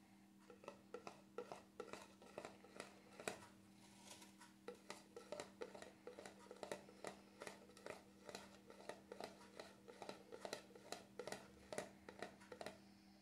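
Fingertips tap again and again on the black plastic lid of a cream jar resting on a stove grate. The taps are light, dry and clicky, with almost no ring, and they come in an uneven patter over a steady low hum.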